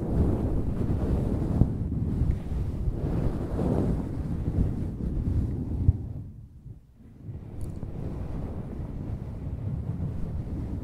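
A small, soft, fluffy grey synthetic-fur windscreen on a handheld recorder mic is rubbed and scratched with both hands using long nails throughout. It makes a dense, muffled, low rumbling scrape, with a few sharper crackles. The sound briefly dies down around the six-to-seven-second mark before the rubbing resumes.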